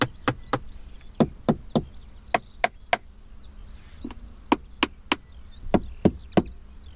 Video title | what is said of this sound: 2024 KGM Torres EVX Review: The Next Big Electric SUV? | with a hollow and Tiny sound when tapping on certain surfaces